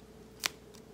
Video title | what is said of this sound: WW First Look: Cut Da Carb! | can you hear how crispy that is